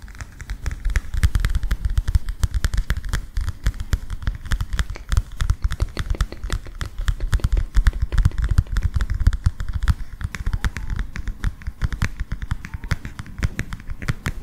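Fingertips and nails tap and scratch a flat, illustrated cardboard picture book in a rapid, steady stream of soft, dry clicks and scrapes. The sound is mostly low and dull thuds with a faint bright edge, and each tap dies away almost instantly.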